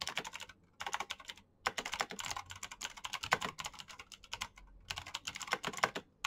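A black Razer mechanical keyboard with plastic keycaps and clicky switches is typed on fast with the fingertips of both hands. Dense bursts of sharp, bright clicks run in quick runs separated by brief pauses. The clicks are crisp and dry with almost no low end.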